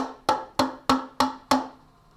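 An empty cup with nothing inside is banged five times in a steady rhythm. Each hit gives a sharp knock with a short ringing tone around 260 Hz and brighter overtones, fading quickly before the next. With nothing inside, the cup's tap sounds louder.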